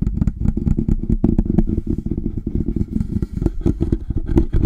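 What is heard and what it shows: A large black metal desktop condenser microphone with a hollow body sits on its stand as both hands grip it and tap and scratch it with fingertips and long nails. Fast, dense clattering taps and scraping are heard, with a deep, boomy low-end and short, quick-decaying hits.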